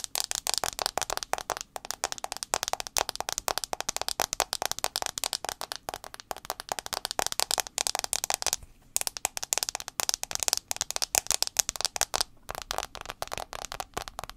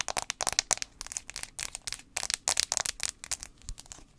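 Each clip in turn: First: phone glass screen. Second: fingernail tapping on a phone's metal back.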